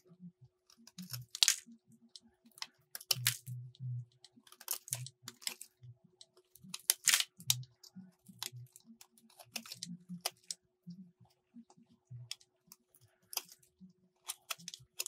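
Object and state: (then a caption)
Soap bar being shaved. A metal box-cutter blade shaves a solid light blue soap bar, making a quick run of short, bright, dry scraping and crumbling strokes. Soft low thumps sit under many strokes, and a faint steady hum runs underneath throughout.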